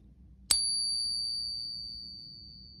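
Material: Silver.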